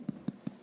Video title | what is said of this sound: Ceramics - closed forms | it sounds hollow. Because, of course, it is.